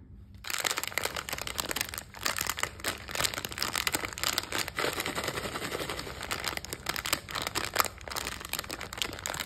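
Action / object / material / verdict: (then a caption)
shake / foil-plastic snack bag with candy / metallized plastic / none. A small printed foil-plastic snack bag of FunBall coated peanuts, full of candy, is held in both hands and squeezed and crinkled with fingertips and long nails. A dense, continuous bright crinkling and crackling runs throughout, with brief quieter gaps around 2 and 4.7 seconds.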